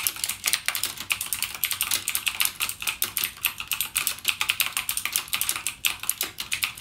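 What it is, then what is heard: Plastic mechanical keyboard. Fingertips type continuously on a backlit mechanical gaming keyboard with plastic keycaps and clicky Cherry MX Blue switches. The result is a rapid, steady stream of sharp, bright clicks that die away almost instantly, with almost no low end.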